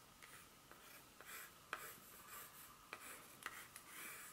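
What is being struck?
Dark chocolate bar.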